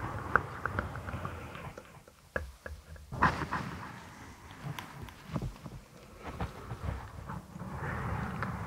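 A soft purple microfiber cloth draped over a binaural microphone is rubbed and scratched with long acrylic nails and fingertips. It makes a muffled, bassy rustling with irregular sharp scratches and brief clicks that rise and fade across the clip.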